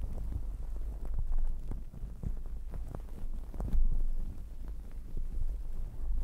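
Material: Fabric.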